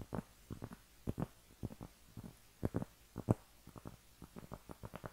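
A round, flat cork trivet, a thin solid disc held in both hands, is scratched with long painted nails. It gives a quick, irregular series of short, dull, muffled scratching strokes with no bright edge. Each stroke dies away almost at once into near silence.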